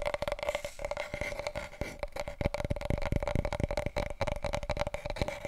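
Fingertips tap rapidly on a wide, hollow, empty large cardboard paper roll tube held diagonally, giving resonant hollow hits. The dense stream of taps blurs together with a steady low body and a constant mid-pitched ring.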